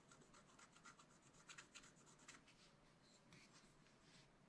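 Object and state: Scratch art paper scratched with a stylus.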